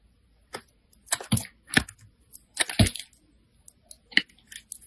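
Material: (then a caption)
Soap. A metal utility blade scrapes and slices thin sheets off a handheld solid orange bar of soap. Short, dry crunchy scrapes come in separate bursts, each with a low thud and a bright crackling edge. They start and stop quickly, with quiet gaps between them.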